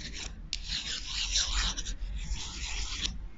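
Two long, thin, solid wooden chopsticks held in the hands are rubbed and scraped against each other close to the microphone. This makes a steady, dry, bright rasping friction sound with a few sharp clicks and a low background rumble underneath.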